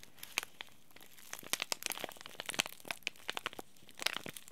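A small, sealed, green laminated plastic and foil tea bag sachet is crinkled and rubbed between the fingertips of both hands. The result is a quiet, irregular stream of sharp, bright crackles and crunches that cut off instantly with almost no ring, and very little low end.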